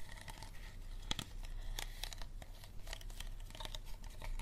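An empty, clear, unlabeled plastic water bottle is tapped and scratched with fingernails and gripped by hands. The result is a quick, irregular run of bright taps and dry crinkling with a steady low rumble underneath.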